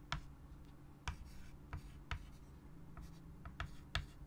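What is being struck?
Chalk on a wood-framed chalkboard.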